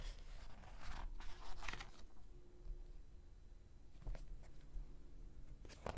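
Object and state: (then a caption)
Glossy paper magazine. Fingertips lift and turn a page of an open glossy thick-paper magazine, then rub and flatten the new spread. Soft, bright papery swishes and crinkles come in short bursts over a quiet, low background hum.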